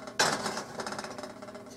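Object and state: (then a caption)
Hollow-sounding baked bread loaf. A freshly baked no-knead bread loaf, flipped over in its pot, is knocked on the bottom, giving a sharp knock followed by a bright, hollow ringing that fades over the next second and a half. The hollow sound shows the loaf is baked through and completely done.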